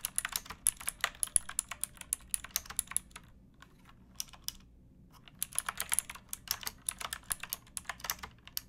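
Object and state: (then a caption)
Plastic mechanical keyboard being typed on. Fingertips with painted nails type on a pink backlit plastic mechanical keyboard with round keycaps and a hollow case, resting on a wooden box. Dozens of short, bright, clacky keystrokes come in quick bursts, with a brief lull of scattered taps in the middle before the rapid typing resumes. A faint low hum sits steadily underneath.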